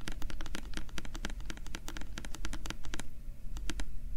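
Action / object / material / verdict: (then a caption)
scrape / small hollow plastic bottle with a paper label / plastic / none. Fingernails scratch the printed label on a small, translucent, hollow plastic bottle. Rapid, dry scratching ticks crackle brightly over a steady low hum. After about three seconds the ticks thin out to a few sparse clicks.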